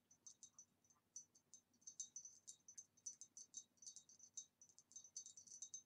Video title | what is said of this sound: ASMR * Tapping on a Beautiful Green Retro Vase * Super Tingly - Glass Sounds * | it makes a very nice tapping sound